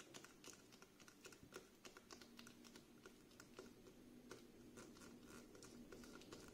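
Fingernails tap the glass sides of a dark green glass scented candle jar with a cork lid and paper label, filled with wax and held in the hand. Quick, irregular clicky taps come a few per second with almost no ring, over a faint steady low hum.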